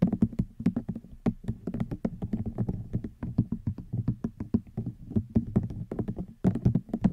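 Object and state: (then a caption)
Rattan wicker basket. A hollow woven rattan wicker basket is tapped with long nails in quick, continuous, gentle taps over about seven seconds. Each tap is short and dry, with a low hollow body tone around 184 Hz and a light clicky edge, and almost no ring between strikes.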